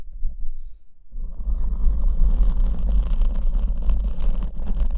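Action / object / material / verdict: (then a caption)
scrape / foam microphone windscreen / foam / none. Long nails scratch the front of a black foam windscreen on the left microphone, which is held in one hand. After about a second of near silence, a dense, deep rumbling scratch starts and continues steadily to the end, with faint bright crackle above it.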